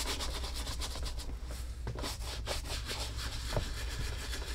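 A horsehair brush with a wooden handle, held in one hand, scrubs the toe and vamp of a tan Lucchese leather cowboy boot hanging empty on a wall mount, using quick back-and-forth strokes. The result is a steady run of dry, bright, bristly swishes over a constant low hum.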